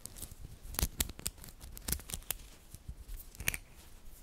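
Small, solid, green-coated magnetic metal balls from a glow-in-the-dark magnetic cube are rolled into a cluster in the fingers. Long nails push the balls so they click and snap together. Quick, sharp, bright clicks ring briefly over a soft, low rumble of handling.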